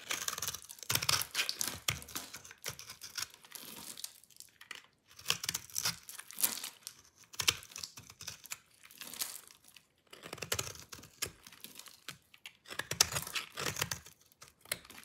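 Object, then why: Bar of soap. A metal utility-knife blade shaves and crunches a hand-sized, solid oval bar of dry yellow soap held in a hand with long dark nails. Dense runs of crisp, dry scraping and crackling crunches come in three main bursts with brief pauses between. The sound is bright and high, with almost no low end.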